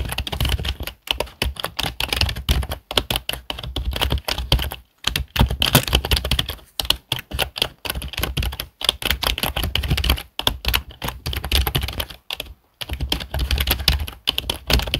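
Both hands type fast with their fingertips on a black plastic HP desktop keyboard. The result is a dense run of quick, clicky key taps with bright high clatter over a low thump, broken by a few brief pauses.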